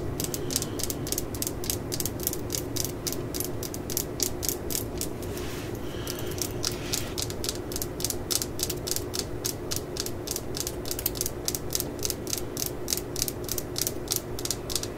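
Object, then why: Fiberglass hammer handle. Long acrylic nails rapidly tap and scratch the yellow labeled handle of a claw hammer, which may be fiberglass or a painted tube, just below the steel head while it is held in hand. The result is a steady stream of sharp, bright clicks over a low background hum. Around the middle the tapping briefly gives way to a softer scratching before resuming.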